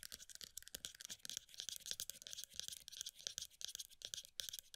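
A pale green plastic body butter tub with a black lid is held in both hands while long nails quickly tap and scratch along its side and lid rim. The sound is a dense, fast run of bright, dry clicks and scratchy rasps with almost no low end, each tap dying away instantly.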